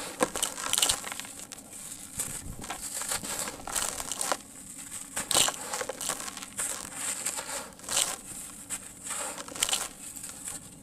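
A large, solid, dry sand-cement block is held in one hand while the other hand squeezes a smaller lump, crumbling it into loose dry grains in a tub. The crumbling makes a steady, gritty crunching and crackling with bright, hissy texture and sharper bursts throughout.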